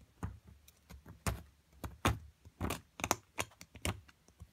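A metal chisel chips at a solid plaster excavation block near purple fragments, making short, irregular taps and scrapes. Each strike has a dull low thud with a brief bright click and almost no ring, while softer scratching fills the pauses between the harder hits.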